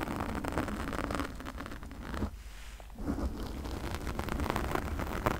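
Long nails and fingertips quickly scratch a pink foam windscreen on a condenser microphone, producing a dense, rushing crackle with a heavy low rumble. The scratching thins out and quiets briefly near the middle, then picks back up to a steady, busy rasp until the end.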